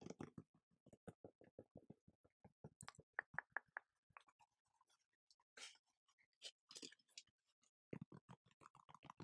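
A dark grey knit mesh fabric sneaker with pink laces is held up in one hand and scratched and tapped on its upper with long gold-painted fingernails. The result is quiet, rapid runs of short dry taps with almost no ring, broken up by brighter, hissy scratching swipes across the fabric.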